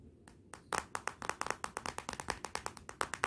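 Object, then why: Glass back of a smartphone tapped with fingernails. Long nails tap on the glossy glass back of a Motorola smartphone lying face down, making a rapid, uneven series of sharp, dry clicks. Each tap is a crisp, bright tick with a mid-high click tone and almost no ring. The taps stay quiet and distinct, with faint low background noise between them.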